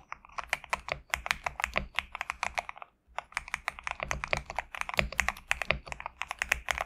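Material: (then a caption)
PBT plastic. A compact mechanical keyboard with PBT plastic keycaps, resting on a desk mat, is typed on steadily with the fingertips of both hands. Quick, bright clacks come in dense bursts with a short pause near the three-second mark, each keystroke crisp and dry with almost no ring.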